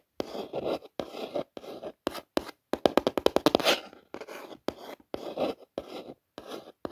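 A long fingernail traces along the raised letters of the Gucci logo on an orange cardboard gift box. It makes short, dry scratching strokes separated by brief silences, with a quick run of sharp clicking taps in the middle. The scraping sits in the midrange with a light, bright hiss.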